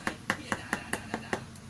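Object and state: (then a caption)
Magnet firmly seated on rotor. A magnet block glued onto the metal rotor of a generator is tapped seven times to check whether it sits flush. Each tap gives a short, dull tick with a brief ring centered near 1.8 kHz. There is no loose clacking, and the magnet is firmly seated.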